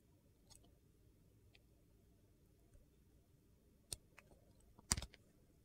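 A metal utility knife slices thin layers off a solid oval bar of clear glycerin soap with colored cubes, held in the hand. Faint scrapes and clicks sit over a quiet, low background hum, then a sharp, bright click near the four-second mark is followed by a tight cluster of crisp, crunchy cuts near the end.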